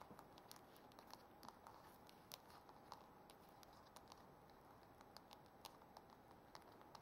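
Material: Metal.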